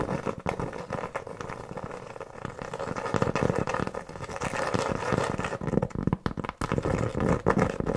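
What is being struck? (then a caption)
Cork board trivet. Long nails tap and scratch across the surface of a large, round, flat, solid cork board trivet held in the hand. The sound is a dense, uneven run of soft, dull taps mixed with rough scratching, sitting mostly in the low and middle range with very little brightness.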